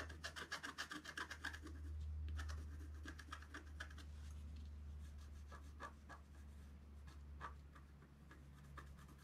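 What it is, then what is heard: Scratch art sheet being scratched. A wooden stylus scratches the coating of a flat, thin, black-coated scratch art sheet in quick, rhythmic strokes, giving a dry, rasping scratch with bright edges over a steady low hum. The strokes are sharp and distinct at first, then blur into a continuous rub before the stylus is briefly lifted at the end.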